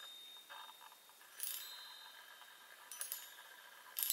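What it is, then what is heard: Metal tube chime tapped with fingernails. Long nails tap the hollow metal tubes of a small handheld chime set on a wooden frame. They make a few quiet, bright metallic pings that die away quickly, with faint high ringing and soft tapping in between.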